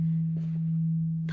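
A metal bell at a temple-like site rings on long after being struck. A steady, undamped tone around 164 Hz sustains through the whole clip, with faint brief sounds in the background.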